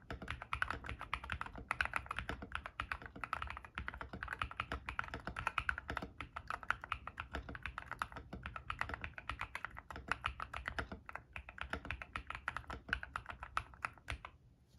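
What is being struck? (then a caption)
Mechanical keyboard with PBT plastic keycaps. Fingertips type rapidly on a white-case 60% mechanical keyboard (ilovbee i61) with hybrid "frankenswitch" switches using P3 stems and white and grey PBT plastic keycaps, resting on a desk mat. It makes a steady stream of short, crisp clacks with a low thocky body and a bright click on top. The typing runs continuously and stops just before the end.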